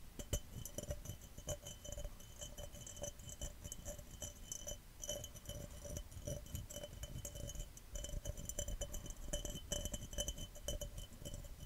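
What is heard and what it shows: A glass cup is tapped fast and aggressively and scratched, giving a rapid run of short, bright clinks with a steady ringing tone near 600 Hz. Low thumps sit under the clinks, and each tap dies away almost at once.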